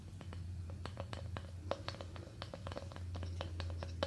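Long painted nails tap and scratch across a thin, solid, small flat square of light-coloured wood, plywood or balsa-like, held up in both hands. The result is a quiet, irregular run of short, dry clicks with a faint hollow tone around 555 Hz, brief high scratchy edges, and a steady low hum underneath.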